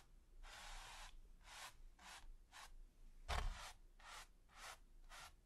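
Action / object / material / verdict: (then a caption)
scrape / natural-bristle brush on primed canvas / canvas / none. A wide, flat natural-bristle brush with a gold ferrule and teal handle, held in the fingers, is swept and scratched across a flat, taut, smooth white primed canvas. Its quiet, dry, hissing strokes come in a steady series of short bursts spread from mid to high frequencies. One stroke partway through is louder and lands with a soft low thump.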